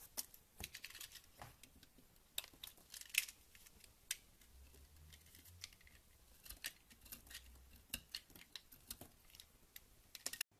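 A small, solid white bar of soap held in the hand is scraped and carved with a teal utility knife blade, cutting off chunks and shavings onto a pile of soap crumbs while an untouched purple bar sits nearby. Quiet, bright, crisp scraping and snipping clicks come in quick irregular bursts, each dying away almost instantly, with a faint low hum underneath partway through.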